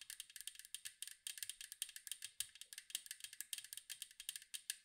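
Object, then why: Metal cookie tin. Long mint acrylic nails tap and scratch the blue-and-white striped side of a round, hollow metal cookie tin with a lid, held in both hands. About 35 quick, crisp clicks come in an uneven, rapid run, each bright and tinny with almost no low end and dying away at once. The overall level stays quiet and close.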